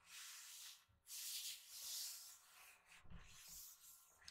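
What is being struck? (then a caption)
Glossy paper pages of a hardcover book. Fingertips rub and brush across a glossy page of a hardcover recipe book lying open on a table. The result is soft, bright, hissy swishes, two long sweeping strokes followed by quieter, scratchier brushing with faint low bumps near the end.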